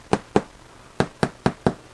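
A freshly baked homemade French bread loaf is flipped over and tapped on the bottom six times, giving short, dull, hollow knocks with almost no ring. The hollow sound shows the bread is baked through and done.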